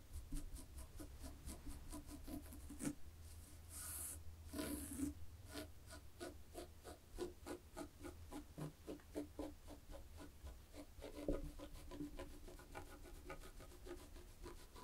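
Long fingernails slowly scratch a black and white textured knit fabric, making a steady run of soft, rasping strokes over a low, constant hum. A few brighter, hissier bursts of scratching stand out briefly before the quiet, rhythmic rubbing continues.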